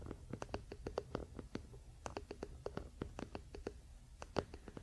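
Both hands scratch the solid wooden back of a wooden paddle hairbrush resting on a blanket, using fingernails and fingertips. The result is a quiet, rapid series of short, dry scratchy clicks with a hollow woody tone around 400 Hz. Each one dies away almost instantly over a soft low rumble.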